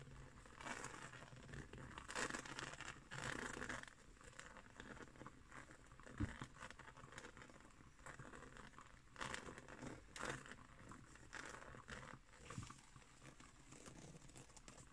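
Fingertips and nails scratch and tap a round, flat, coiled woven straw trivet. The result is a dry, crinkly rustle in uneven bursts of brushing and soft patter, with one sharper tap standing out partway through. The taps stop short, and bright scraping texture rides over a low, quiet bed.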